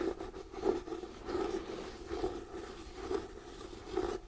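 Fingernails scratch across the cover and edge of a hardcover paper book. Soft, dry scraping strokes swell and fade roughly once a second at an uneven pace, with a muffled midrange body and little high hiss. The texture stays quiet and continuous throughout.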